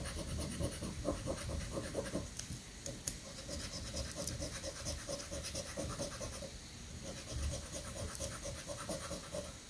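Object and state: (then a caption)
Scratch-off lottery ticket being scratched with a coin. A coin held in the fingertips scratches the latex coating off a thin paper prank scratch-off lottery ticket lying on a sandy granite countertop. Short, gritty scraping strokes repeat at an uneven pace, with a steady tone around 500–600 Hz and bright hiss on each pass. A low, rumbling wind-like background runs underneath throughout.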